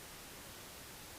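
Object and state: Nothing is struck.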